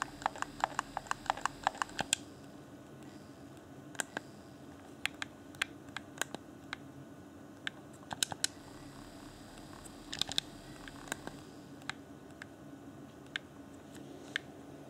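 A fingertip clicks the buttons of a hand-sized, hollow, transparent plastic Xbox One Afterglow game controller. Sharp, dry, bright plastic clicks come in a quick flurry at first, then sparser taps and small clusters. A faint steady low hum sits underneath.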